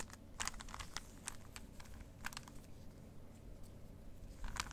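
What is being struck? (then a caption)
Plastic puzzle cube. A plastic 3x3 Rubik's cube is twisted and clicked in both hands close to the mic. Quick, dry clicks and clacks with a bright edge sound over a steady low rumble.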